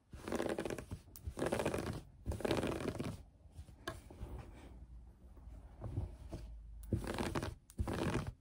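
Long fingernails on both hands quickly scratch green knit fabric laid flat on a table. Bursts of rapid, dry, rustling scratches alternate with a quieter, softer stretch of scratching in the middle before two more loud bursts close the clip.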